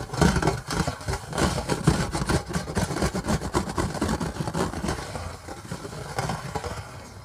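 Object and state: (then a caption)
Stainless steel plate. Long fingernails scratch and tap a thin, round, flat stainless steel plate with an embossed design as it lies on an orange bag. The result is a rapid, hollow-sounding run of dull, low-heavy taps and scrapes, each dying away quickly. The activity grows quieter and sparser toward the end.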